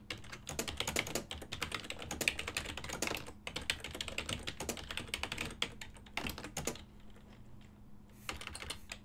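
Fingertips type continuously on a full-size ergonomic silver and black plastic desktop keyboard with hollow key switches, producing rapid, bright, clacky keystrokes that die away almost instantly. The typing runs in dense bursts with a brief quieter pause near the end before resuming, over a faint steady low hum.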